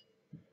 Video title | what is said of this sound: Physics in the House: 3) boiling water in a kettle | if I tap this fresh poured water I get a relatively dull sound compared to tapping the glass with the boiled water